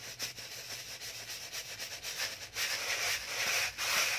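A small, hollow white rectangular cardboard box is held in one hand and scratched and rubbed with the fingernails of the other, close to the microphone. The result is a dry, bright, papery scratching in quick, uneven strokes of about two per second, growing louder and denser in its second half.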